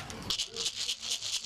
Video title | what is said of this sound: 201304-20 Carl Ramos - Warsa Eanigi - Making the Shakkas | it sounds like you need a little bit more